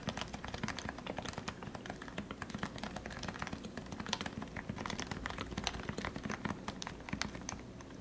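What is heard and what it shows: Fingertips type continuously on a compact white plastic Leopold FC660C lubricated Topre keyboard with 45g switches. The result is a steady stream of quick, soft, muted keystrokes with short, dull clacks over a low background rumble.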